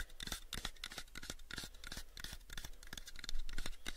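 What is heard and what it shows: Fingertips and nails scratch and tap the edges of a pale, unfinished, hollow wooden box held in both hands. Quick, dry, bright taps and scratchy strokes follow one another rapidly, each dying away almost at once, over a steady low hum.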